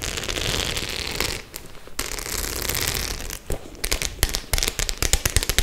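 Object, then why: Faux leather clutch covered in small metal studs. Long nails scratch and tap over the small metal studs covering a white faux leather clutch held upright. A dense, bright scratching rasp runs for the first few seconds, dropping out briefly around the midpoint. It then gives way to a series of sharp, quickly fading clicks and taps.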